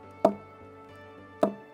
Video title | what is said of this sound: Jamaica Magazine 18/12/2020 | gave you that sound because it's hollow inside the more it grows all the more it expands